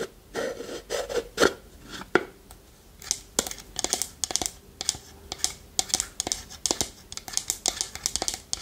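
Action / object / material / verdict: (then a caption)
scrape / small wooden pot with lid / wood / none. Long nails scratch and tap a small hollow wooden pot with a lid, held in both hands. Dry scraping alternates with rapid, bright clicks, and a faint hollow tone sits underneath. Each tap dies away almost at once.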